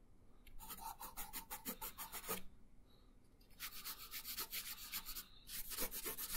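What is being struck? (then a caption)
Colored pencil on a thin paper sheet over a wooden table. A pink colored pencil shades a thin paper coloring page resting on a wooden table, making quick back-and-forth rubbing strokes. The strokes give a bright, dry, scratchy rasp that comes in two runs separated by a short quiet pause, with the second run longer and busier.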